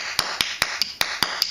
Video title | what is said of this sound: CCM Tech Video - J12 - Testing the Regulator | you can hear air coming out of there right so you know that that's aired up